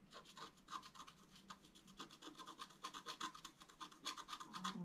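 A wooden stylus makes rapid, short scratches across a flat, thin, solid black wax-coated scratch-art paper card. The result is a quiet, steady series of dry, raspy scrapes with a bright hiss and a faint tone near 1 kHz, each stroke stopping almost instantly.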